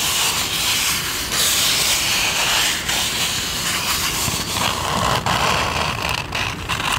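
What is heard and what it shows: A white foam drinking cup held up in both hands has its hollow side scratched and tapped with long nails, while a bowl of ice sits idle nearby. A steady, bright, hissing scratch runs throughout, broken by sharp taps, with energy concentrated in the high range and little low end.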